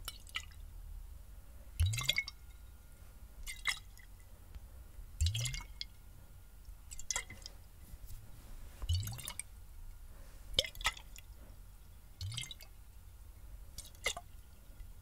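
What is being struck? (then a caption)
Glass bottle with water. A clear, hollow glass bottle partly filled with water is held near the mic and tilted and shaken so the liquid moves inside. Irregular sloshing bursts come every couple of seconds, each a soft low thump with bright, drippy splashes, separated by quiet gaps.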